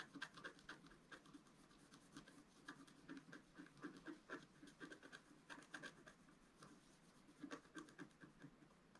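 A wooden stylus scratches the black coating of a flat, wax-coated scratch-art paper sheet lying on a table and held by the left hand. Quick, dry scraping strokes come in an uneven rhythm, each a brief crackly rasp with a bright edge and no ring. The scratching stays quiet and close throughout.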